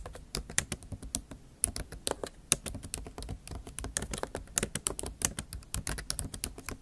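Long acrylic nail tips type rapidly on the plastic keys of a MacBook Pro keyboard set in an aluminium body. The result is a fast, uneven run of short, dry, bright clicks with a little low thump beneath, each tap dying away almost instantly.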